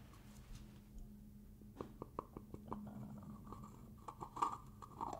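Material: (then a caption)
Plastic. Fingers scratch the ridged rim of a black plastic screw lid on a black plastic hair gel jar, then unscrew the lid. Quiet, dry scratching gives way to a loose, irregular series of sharp plastic clicks and ticks with a faint low hum underneath. The last clicks swell into a brighter, ringing scrape as the lid turns free.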